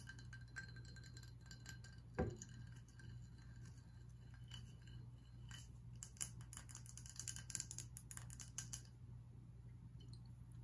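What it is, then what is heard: Glass whiskey bottle. A glass whiskey bottle is tapped and scratched, giving light clinking glass sounds over a steady low hum. One sharp tap stands out near the start, and a denser run of bright scratching and clicking follows toward the end before fading.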